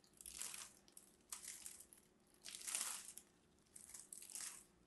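Scored cubes are crumbled off the surface of a solid purple embossed bar of soap held in the hand, using long red nails and fingertips. The result is a series of dry, bright, crunching scratches in several bursts, mostly high in pitch with almost no low end.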